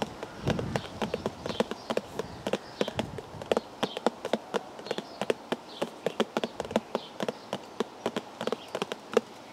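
Fingers tap steadily on a cardboard tea bag box, producing a rapid run of dry, hollow clicks. Each tap is short and mid-pitched with almost no ring, and there is a brief muffled rustle at the start before the taps settle into an uneven, quick rhythm.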